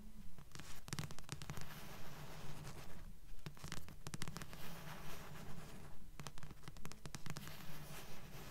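Long nails tap and scratch the glossy card front cover of a thick blue paperback book, a solid paper block held upright. Soft, dull taps repeat in a steady rhythm of about two per second, mixed with faint scratchy rustles. The sound stays quiet and low-heavy, and each tap dies away quickly.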